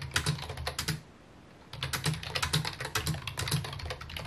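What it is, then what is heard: Plastic computer keyboard being typed on. Fingertips type rapidly on a full-size white and mint plastic computer keyboard with a hollow housing, resting on a wooden desk. Bursts of quick, bright key clicks ride over a low, hollow thump from each keystroke. The typing stops for a brief pause near the middle, then resumes.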